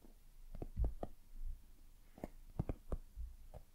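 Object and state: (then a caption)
Silicone lamp. Long nails tap and scratch the surface of a white, soft, hollow silicone dumpling lamp held close to the microphone. The result is a series of quiet, dull, muffled taps with very short decay, heavy in low tones with almost no brightness, and a faint scratchy texture between them.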